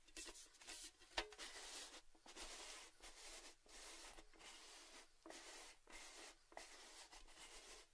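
A hollow, red, cylindrical Baileys gift tin made of metal stands and is tilted while fingertips and nails tap and scratch its rim and top. Soft, bright, scratchy rasps come in short bursts separated by brief pauses, with a few sharp light taps that die away almost at once.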